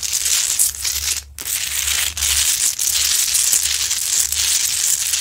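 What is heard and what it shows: Long acrylic nails scratch the sides and front of a large, lit, solid rock-salt Himalayan salt lamp. The result is a dense, bright, gritty scraping that runs almost continuously, with a brief drop-out just after the first second and a few small dips later.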